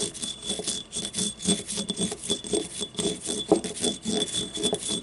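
A small hollow yellow ribbed ceramic paint cup lies on its side while nails scratch along its ribs as it is handled. The result is a steady run of short, rasping scrapes with a bright, hissy top and a hollow, low-mid body, repeating roughly twice per second without a strict rhythm.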